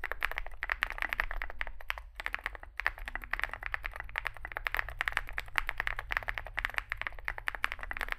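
Both hands type continuously with their fingertips on a compact 65% Zoom65 mechanical keyboard with a dark case and white and grey SA-profile plastic keycaps, resting on a desk mat. The result is a dense, rapid stream of short, clacky keystrokes centered around 2 kHz with bright edges, and a brief lull just after two seconds. A steady low hum sits underneath.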